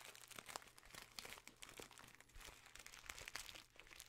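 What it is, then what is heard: Kraft paper bag. A small, filled brown kraft paper bag with a white label and red seal is crinkled, rubbed and squeezed with the fingers. It makes a steady stream of crisp, bright crackles and rustles with sharp little snaps that stop instantly, over a faint low hum.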